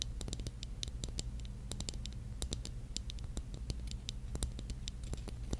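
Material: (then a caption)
Glass. Long painted nails scratch and tap across the glass mosaic tiles of a small, hollow, pink mirror-tiled disco mushroom ornament held in the hand. The result is a rapid, uneven patter of short, bright clicks and scrapes with almost no ring, over a steady low hum.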